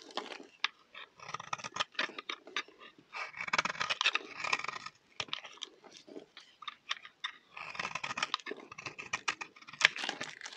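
A solid, round bar of dry lavender soap held in the hand is scraped and shaved with a utility knife blade, producing crunchy, powdery flakes. Close, dry crunching and scratchy rasps come in quick bursts, with short pauses between strokes. The sound is bright and airy, mostly high with little low end.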